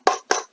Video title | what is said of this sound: AIRSOFT AK 47 FOR UNDER £70,00....OMG | you can hear it's Hollow it's a bit plasticky